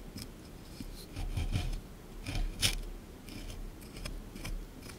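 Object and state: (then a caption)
Plaster block being scraped. A small chisel tool scrapes a solid plaster dinosaur excavation block sitting in a tray. Gritty, rasping strokes come in uneven bursts, with bright scratchy edges over a low, dull rumble.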